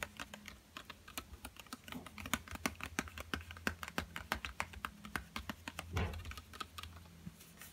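A small, flat yellow Crayola cardboard box, hollow and filled with coloured pencils and lying on a table, is tapped with fingertips. Quick, dry, hollow clicks patter in an irregular run over a low hum. Around the six-second mark there is a softer, duller thump.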